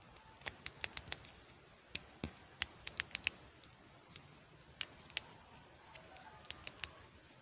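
A small, solid pink plastic toy hair clip is held in both hands while the fingertips open, close and click it. About eighteen sharp, bright, dry clicks come in irregular clusters with no ring, over a quiet background.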